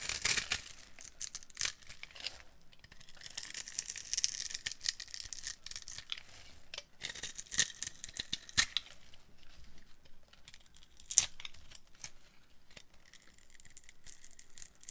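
A metal blade carves a dry, solid, translucent yellow glycerin soap bar held in the hand, shaving off small crunchy cubes. The result is a quiet stream of bright, crisp scraping and crackling with short snappy clicks and little low-end.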